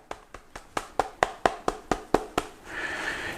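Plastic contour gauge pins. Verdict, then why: Tight. Eleven quick, dry taps land on the plastic pins of a locked Saker contour gauge, each a short click with no rattle or ring-out, followed by a soft, steady hiss. The pins stay put under the tapping, so the lock holds tight.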